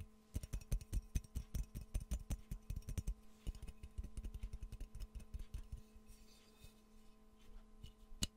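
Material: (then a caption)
Ceramic. Fingernails tap steadily on the body of a hollow, empty, yellow glazed ceramic Pikachu mug close to the mic. The taps are short, dry clicks with a low thump and little ring, over a faint steady hum. They grow softer and sparser after about six seconds, and one sharp tap lands near the end.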